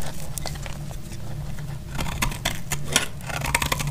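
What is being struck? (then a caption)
Bar of soap cut with a blade. A solid orange bar of soap is scraped with a utility blade into thin shavings. Dry, crisp scratching and short bright crackling ticks sound over a steady low hum, with sharper snaps near the end.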